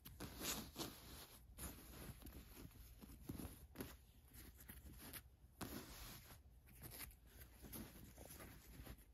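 Fingers with long nails scratch the embroidered white lettering and the fabric of a black cotton t-shirt. The result is a quiet, dry, rustling scratch in irregular bursts with a bright, hissy edge, and a faint low rumble sits underneath.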